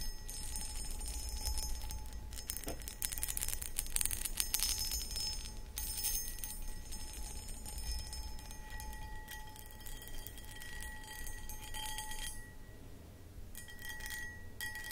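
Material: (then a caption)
Glass. Long acrylic nails scratch and tap the outside of an empty, hollow, medium-sized clear cut glass pedestal bowl. Bright, gritty scraping mixes with light clicking taps, over faint sustained glassy tones that hang in the background throughout.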